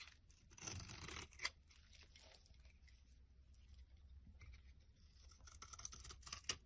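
A knife blade scrapes and cuts flakes from a pale green solid bar of soap held in the palm. Soft, bright, dry scraping and tearing sounds come in bursts, with a couple of sharper clicks as the flakes come away.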